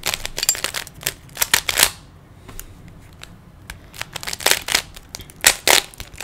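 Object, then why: Small plastic puzzle cube. Fingertips twist the layers of a small hollow plastic 3x3 Rubik's cube, producing bursts of bright, dry plastic clicks with almost no low end. A quieter stretch of faint ticks sits in the middle, and the sharp, fast-decaying clicks pick up again toward the end.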